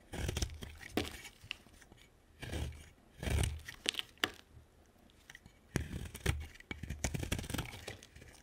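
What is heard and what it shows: A utility knife blade cuts flakes from a hand-sized, solid white bar of soap with green patches. Each cut makes a crisp, crunchy scrape with dull low thumps and sharp bright clicks, and the sounds stop dead with almost no ring. The cuts come in uneven bursts with quiet gaps between them.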